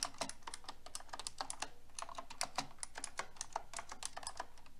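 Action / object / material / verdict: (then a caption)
tap / mechanical keyboard with plastic keycaps / plastic / none. Fingertips with long red nails type on a pink mechanical keyboard with a silver frame and plastic keycaps. A quick, uneven run of crisp, bright clacks and clicks rises over a low background hum, each keystroke decaying almost instantly.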